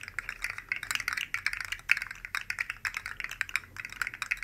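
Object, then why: Articulated plastic slug toy. Two identical rainbow-colored articulated plastic slug fidget toys made of hollow segments are dangled from the fingertips and shaken close by, their segments rattling and clicking. The result is a dense, fast stream of light, dry, bright clicks with no low end, each tick dying out almost instantly.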